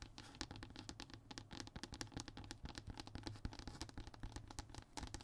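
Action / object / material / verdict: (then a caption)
scrape / hardboard (fiberboard) panel / fiberboard / none. Short fingernails scratch rapidly across the textured surface of a flat, thin brown hardboard (MDF) fiberboard panel resting on a table. The result is a dense run of quick, dry scraping strokes with bright, crisp edges over a low, steady undertone, each stroke dying away almost instantly.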